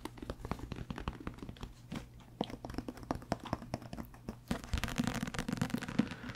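A thick paperback book with a paper cover and paper pages is held in the hands and turned edge-on while the page edges are riffled and the book is tapped with the fingertips. Quick, dry taps and soft papery flutters come in a dense stream with a low, thumpy body. Near the end the riffling becomes busier and brighter.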